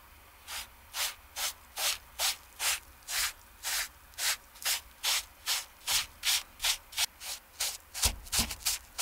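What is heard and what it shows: A foam sponge brush on a wooden handle rubs the dry canvas upper of a TOMS slip-on shoe to fluff the fabric. It makes 22 separate bright, breathy scrubbing strokes at a steady pace that grow quicker and closer together toward the end. Each stroke is hissy with little low end and stops cleanly with no ring.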